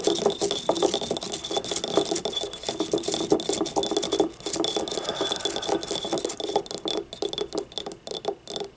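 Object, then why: Glazed ceramic ribbed ramekin. Long painted nails tap and scratch the ribbed outer wall of a small, hollow, yellow glazed ceramic ramekin used as a paint cup, standing upright on a wooden table. A dense, continuous stream of quick, dry clicks and scratchy rasps carries a short ceramic ring around 400 Hz and a bright, hissy top with almost no low end. The tapping holds at a steady level throughout, with only brief dips.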